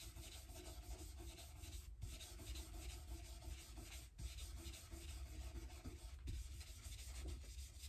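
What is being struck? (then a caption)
Rosewood guitar fretboard with metal frets. A folded white cloth is rubbed and wiped vigorously over the dark rosewood fretboard with metal frets on the unstrung neck of an Epiphone Casino hollow-body electric guitar during restringing. A steady, low-heavy rubbing hiss continues throughout, with brief dips near 2, 4 and 6 seconds as the strokes change.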